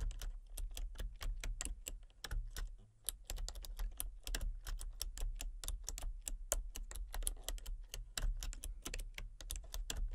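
Fingertips and long painted nails type rapidly on a full-size backlit plastic RGB computer keyboard with hollow key switches and colour-cycling lights. A steady stream of sharp, bright, hollow clicks and taps follows, each dying away almost at once, over a constant low hum.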